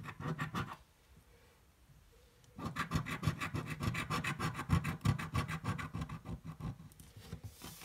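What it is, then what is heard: Scratch-off lottery ticket being scratched. A coin scratches the coating off a yellow, thin-card paper scratch-off lottery ticket held flat on a table. A short burst of quick rasping strokes gives way to near silence, then a steady run of rapid, rhythmic scratches, about three per second, with a low papery rasp and some brighter grit.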